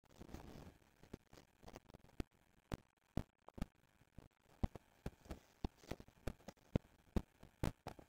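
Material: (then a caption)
Cardboard. Fingertips and short nails scratch and tap the front face of a small, hollow, rectangular silver-printed cardboard box of Neuskin cleansing foam packaging lying on a wooden table. A brief soft scratchy rustle opens the clip, followed by a quiet, irregular string of sharp, dry, low taps with almost no ring, separated by near silence.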